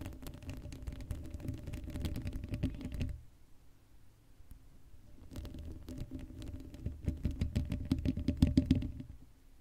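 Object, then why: Woven metal mesh microphone grille. Long matte acrylic nails on both hands scratch and tap the bare black woven metal mesh grille of a Blue Yeti microphone's hollow dome, with no cover on it. Dense, uneven bursts of close, boomy scratching and clicking fill the first three seconds, fall to a quiet, sparse stretch, then return and build louder toward the end before fading.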